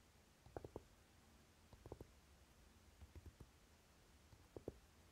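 Fingertips and short nails of both hands quickly tap the lid of a closed Naked eyeshadow palette with a dark, velvety cover. The result is soft, muffled taps with a low-mid thud, coming in brief clusters separated by near silence.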